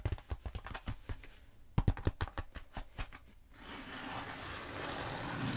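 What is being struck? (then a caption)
Bead foam roller. Long nails tap a long black bead foam roller in a quick, uneven run of about 17 short, dull, low-pitched knocks with little ring. Then they scratch steadily along its surface, giving a continuous bright, hissy rasp that slowly grows louder to the end.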